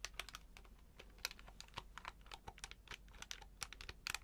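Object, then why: Plastic electronic calculator. Fingertips press and tap the plastic keys of a hand-sized grey plastic electronic desktop calculator with an LCD display, held up in both hands. Quick, dry, bright clicks come in a steady, uneven stream with almost no ring. Some taps are sharper and louder than others.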